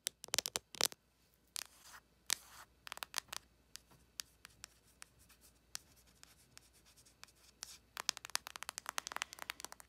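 Long acrylic nails tap and scratch the raised, embossed character face on a closed ColourPop cardboard eyeshadow palette. They make dry, bright clicks and rasping scrapes with no ring. Quick flurries open the clip, then sparser taps follow, and a dense burst of rapid tapping closes it.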